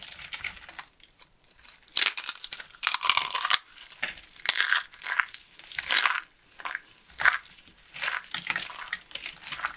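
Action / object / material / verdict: scrape / carved soap flower / soap / none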